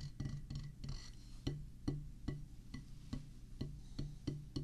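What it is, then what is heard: Rubber drum practice pad struck with a stick. A wooden drumstick tip taps slowly on a flat oval drum practice pad with a black rubber surface, set on a solid pressboard or wood base. Each tap is a dull, low thud centered around 145 Hz that dies away quickly, at a loose, uneven pace of about two taps per second.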